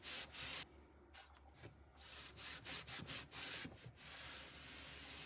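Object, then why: Ribbed plastic mini fridge interior wall. A hand rubs and wipes along the ridges of the ribbed black plastic side wall inside an empty mini fridge, a hollow cabinet, using a pink microfiber cloth. Bright, breathy swishes come in uneven strokes, with a faint steady low hum underneath. The rubbing fades into a softer continuous hiss at the end.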